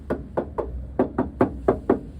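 Eight short, dull taps land on the welded rocker sill of a 1968 MGB roadster, whose rusted sills were repaired about 20 years ago. Each knock is brief, with a mid-pitched tone and almost no ring. The sound shows the repaired sill is solid metal rather than filler, though the extent of the metalwork can't be told.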